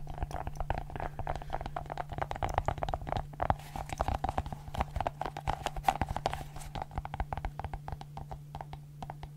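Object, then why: Silicone pop-it fidget ball. A multicolored silicone pop-it fidget ball has its bubbles pressed and popped with fingertips and long nails. A rapid, steady stream of soft, dull pops and light clicks plays over a constant low hum, with a faint mid-pitched tone running beneath.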